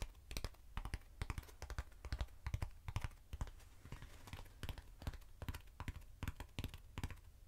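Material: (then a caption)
Foam. Long nails tap and scratch the surface of a short, hand-sized hollow black foam cylinder with an open center hole. Many quick, dull, low taps fall in an uneven rhythm, each dying away almost at once, with a faint scratchy hiss between them.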